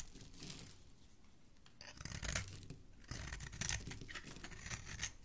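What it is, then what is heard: Bar of soap being shaved. A palm-sized, solid, oval green bar of soap, held in the fingers, is scraped and shaved with a utility knife blade, throwing off fine shavings. Dry, rasping scrapes come in uneven bursts with a bright, crackly hiss over a soft low rumble. The strokes grow louder and denser in the second half.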